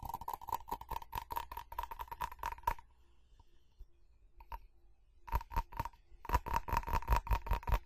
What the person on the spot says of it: FAST Tapping & Scratching On Ceramic